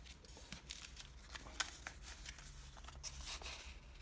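Fingertips pinch, fold and rub the creases of a small, multi-layer folded sheet of light blue washi origami paper. The result is quiet, dry crinkles and rustles with bright, papery crackles, including one sharper snap partway through. A low steady hum sits underneath.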